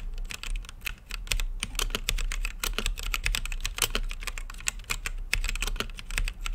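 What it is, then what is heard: Mechanical keyboard with plastic keycaps. Fingertips type steadily on an RGB-lit mechanical keyboard with plastic keycaps and a clear acrylic case, producing a rapid, uneven stream of short, bright clacks. Each key press stops almost instantly, over a steady low hum underneath.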